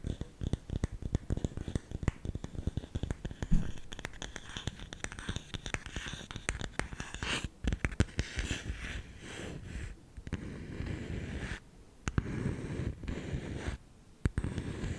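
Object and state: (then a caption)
Bamboo salt container. Fingertips tap and scratch the lid of a round, hollow, lidded bamboo salt container. The result is a dense run of quick, dull, low-pitched taps with short decay, mixed with dry scratching. Toward the end it shifts into steadier stretches of soft scratching broken by brief pauses.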